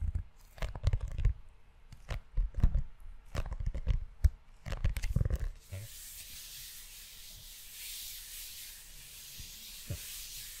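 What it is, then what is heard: Leather-covered notebook. Fingertips of both hands rub and scratch the cover and spine of a closed brown leather-bound notebook. For the first half there are irregular bursts of low, muffled scuffing and dull thumps. The rest settles into a steady, soft, bright hiss with a few faint taps.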